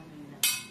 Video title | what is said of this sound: Kompor Gas Kaca VAGANZA | kalau besi walaupun baja bunyinya kan seperti ini, teng ya.